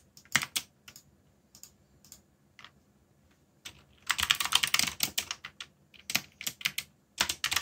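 Fingertips tap the keys of a backlit mechanical keyboard with black plastic keycaps while typing. Sharp, bright clacks with almost no low end come in scattered taps and short pauses. A fast, dense run of keystrokes fills the middle of the clip, then more spaced-out typing follows.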